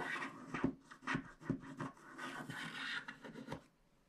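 A wooden stick scrapes the black wax coating near the bottom edge of a small, flat paper scratch art card. The result is a series of short, dry, rasping scratch strokes with a soft, papery grain and bright edges, separated by brief pauses. A sustained scraping passage near the end fades into quiet.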